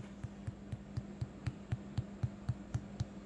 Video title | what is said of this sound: Brioche Pullman Sandwich Loaf | Sounds hollow. Just tap it. You can hear that hollowness in it.